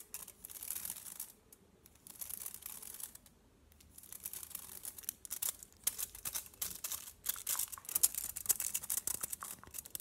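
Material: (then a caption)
Aluminium foil. A solid chocolate bar wrapped in aluminium foil is held in the hand while fingernails tap and scratch across the foil surface. Quiet, bright, crinkly scratching comes in bursts separated by short pauses, then turns into quicker, denser tapping and crackling toward the end.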